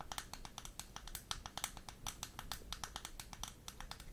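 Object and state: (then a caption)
Plastic makeup compact. Long nails tap and scratch the surface and edges of a small, closed, square Barbie-branded plastic blush compact with a gold metallic rim, held up close in front of the microphone. About 28 quick, dry, bright clicks come in a steady stream with almost no ring, over a faint low hum.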